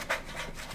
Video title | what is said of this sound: WACOM ONE 💻 Professional Artist REVIEW | it sounds cheap but it's actually pretty thick